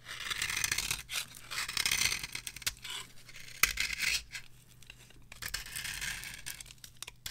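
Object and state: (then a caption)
Dry bar soap carved with a blade. A small metal blade scrapes and carves the surface of a solid, palm-sized, orange rectangular bar of varnished dry soap with an embossed logo. Bright, dry rasping strokes come in uneven bursts separated by short pauses, with a sharp click partway through. The scraping stays high and crisp throughout, with little low end.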